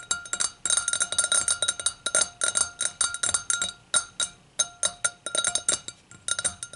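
Long pink-tipped acrylic nails tap and scratch a clear, empty, hollow stemmed hurricane glass lying on its side on a towel, working over its bowl and foot. Quick bursts of bright, high glassy clinks and clicks come in uneven runs with short pauses. Each clink dies away almost at once, with almost no low end.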